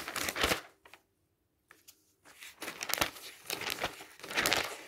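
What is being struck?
Glossy coated paper catalog.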